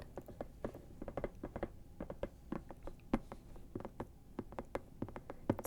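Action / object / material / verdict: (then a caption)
tap / silicone lamp shade / silicone / none. Fingernails tap rapidly on a soft silicone lamp shade, making quick, light, muffled taps with a low thudding tone and almost no ring. The irregular patter sounds different from finger tapping, more like rain.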